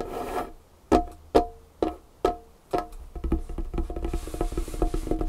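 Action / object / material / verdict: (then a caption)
tap / wooden tabletop / wood / none. Long painted fingernails tap the surface of a large, solid, dark wood tabletop. A soft brushing sound opens the clip, followed by five separate crisp taps with a short woody ring. The tapping then speeds into a quicker, busier run.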